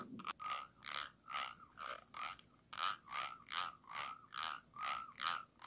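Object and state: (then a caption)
Glass jar, scraped. A thin stick tool with a metal ferrule scratches the ridged bottom rim of a small, round, clear glass jar held upside down and hollow. It makes a steady series of short, rasping scrapes at about two and a half strokes per second. Each stroke carries a bright, ratcheting texture and a faint ringing tone around 1.2 kHz that fades quickly.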